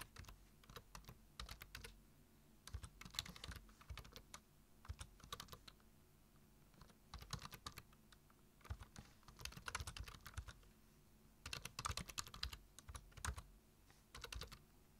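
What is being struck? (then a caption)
Plastic computer keyboard. Fingertips type on the keys of a black plastic computer keyboard, giving quick, bright clicking taps in bursts separated by short pauses. The keystrokes are crisp and dry with a low thud under each tap.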